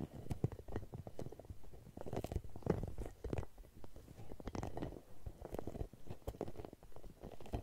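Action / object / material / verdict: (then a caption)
scrape / hollow rubber spiky massage ball / rubber / none. A red translucent hollow rubber spiky massage ball is held in both hands and scratched and squeezed with long nails close to the mic. The result is a dense run of soft, low, muffled rubbery scratches, squishes and taps with very short decay and almost no high sound.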